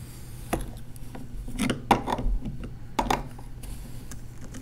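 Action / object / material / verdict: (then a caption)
scrape / fine sand and a small plastic rake / sand / none. A red plastic LEGO rake, held by the fingertips, is dragged in slow curving strokes through fine beige sand in a shallow tray framed by LEGO bricks, leaving grooves. The result is soft, gritty scraping broken by brief light ticks and clicks over a low, steady hum.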